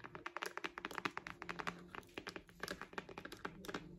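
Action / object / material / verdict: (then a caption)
tap / faux patent-leather wallet tapped with nails / faux leather / none. Long acrylic nails rapidly tap and scratch a small, solid, pink glossy faux-leather (patent) crocodile-embossed wallet with a metal logo. The result is a quick run of sharp, bright clicks that stop almost at once, with softer scratching around the middle.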